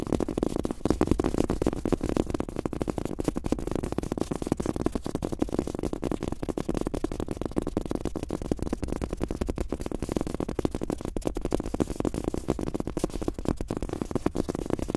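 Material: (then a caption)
Fabric, rubber. Fast fingertip tapping with both hands on a large, thin, soft fabric-top rubber desk mouse pad with a world map print, lying flat. It makes a dense, continuous patter of soft, muffled taps that are low and dull, with almost no bright content and no ring after each tap.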